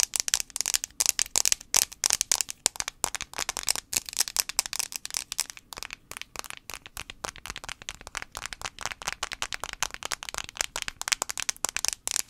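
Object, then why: Plastic smartphone back casing. Fingernails tap rapidly on the plastic back casing of an iPhone 5c, making a dense run of sharp, dry clicks. The taps are bright and high-pitched, with almost no low end, and each one stops instantly without ringing.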